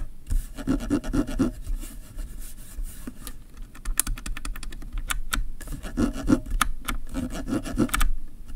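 Fingernails scratch and rub back and forth across the ridges of the ribbed rubberized zoom ring on a black plastic camera kit lens. The result is dry, rasping bursts with a low, muffled body and clicky, bright ticks that die away almost instantly. The bursts are busiest at the start and end, with a quieter stretch in the middle.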